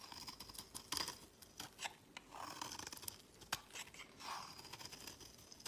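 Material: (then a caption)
Soap. A utility knife blade scrapes shavings off the edge of a solid, palm-sized white embossed bar of soap held in the hand. Quiet, bright, crisp scraping strokes repeat with short, dry cuts and almost no low end.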